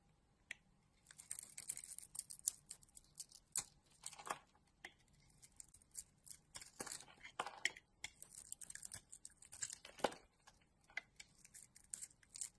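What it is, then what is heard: Bar soap being carved. A utility knife blade scrapes and carves a solid oval bar of soap, blue-coated with a pink core and embossed "Kris," held in the hand. Soft, bright, crisp scraping and shaving strokes come in irregular bursts, with occasional louder sharp cuts over near silence.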